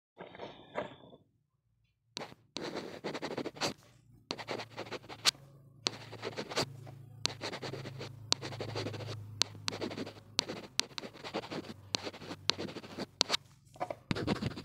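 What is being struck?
Plastic earphone inline mic housing.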